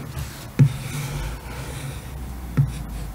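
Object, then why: Laminated cardboard hardcover book cover. The tip of a blue pen traces and scratches across the printed artwork on the glossy laminated cardboard cover of a large, closed hardcover picture book lying on a table, while the other hand holds the book still. A soft, low, continuous scraping runs throughout, broken by two short, dull knocks about two seconds apart.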